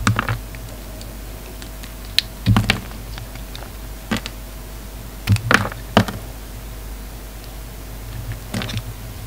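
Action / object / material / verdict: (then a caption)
scrape / bar of soap cut with a knife blade / soap / none. A hand-sized solid pink bar of soap, held in one hand, is carved with a utility knife blade that shaves off curled strips. Short, crisp scraping and cutting bursts with quick clicky ticks come in irregular clusters over a steady low hum and faint background noise. The cuts are dry and brief, with almost no ring after each stroke.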